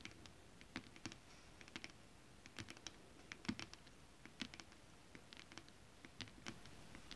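Long decorated acrylic nails on both hands tap and scratch a flat sheet of shiny holographic mermaid-scale-printed stretch fabric that is thin and soft. The result is quiet, irregular bursts of sharp, dry clicks with bright tops, each dying away almost instantly over a faint soft scratchy hiss.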